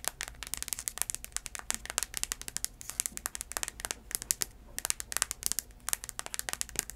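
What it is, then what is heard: Sandal with cork footbed. Long nails tap and scratch the tan cork or wood-look footbed of a flat sandal with black braided straps. The result is a rapid, uneven run of crisp, bright clicks and scratchy crackles that die away instantly, with almost no low end beneath them.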